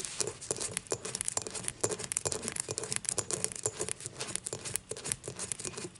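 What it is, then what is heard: Glass beer mug. Long nails scratch and tap the rim and base of an empty dimpled glass beer mug lying on its side. A quick, uneven stream of bright, sharp clicks rides over a dry, scratchy scraping, with a faint glassy tone near 430 Hz. Each tap dies away almost at once.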